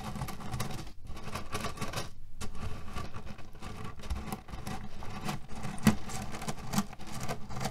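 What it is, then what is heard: Cherry-pit-filled cotton pillow. Fingernails scratch and knead the surface of a cotton cushion filled with cherry pits, producing a dense, continuous crunchy rattle and rustle with a heavy low-end body. The texture breaks briefly near the one- and two-second marks before resuming with scattered sharper clicks.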